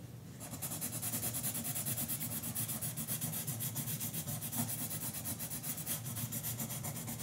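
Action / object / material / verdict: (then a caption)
scrape / colored pencil on a paper coloring book page / paper / none. A yellow colored pencil rubs and scratches across a page of an open paperback coloring book lying flat on a counter, while the other hand holds the book. The sound is a steady, rhythmic scratching with bright, papery strokes over a soft low rumble, continuing throughout without pause.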